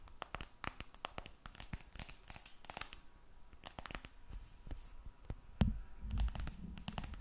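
Long red nails tap and scratch a glass and aluminum smartphone held flat above the mic. Quick, irregular clicking taps and dry scratching strokes come in bright broadband bursts over a low rumbling background. Near the end, a few louder thumps stand out.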